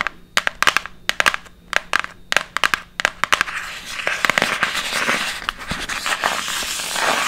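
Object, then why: Printed cardboard box. Long acrylic nails tap and scratch the front of a flat, fairly large, hollow printed cardboard box for an inflatable glitter swim ring, held up in the air. Quick, dry, crisp clicks come first, then give way after about three seconds to a steady, hissy scratching broken by occasional taps.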